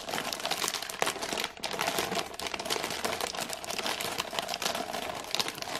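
A full cardboard gingerbread box in printed plastic wrap is held in both hands while long nails squeeze and scratch the film. The result is a steady, dense crinkling and crackling with many quick, sharp ticks, bright and hissy with almost no low end.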